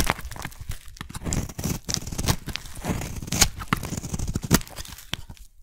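A metal blade shaves thin layers off a solid blue oval soap bar, carving it with repeated strokes. Each cut gives a dry, crisp tearing and crumbling scrape, with a few sharper bright cracks standing out over a dense low rumble of short, quickly fading strokes.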